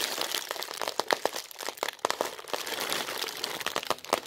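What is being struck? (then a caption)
Thin plastic bag. A thin, translucent white plastic bag, empty and loosely bunched, is crumpled, stretched and crinkled close up by both hands with long red nails. Dense, bright crinkling runs throughout with no low end, broken by sharp, short crackles that stand out above the steady rustle.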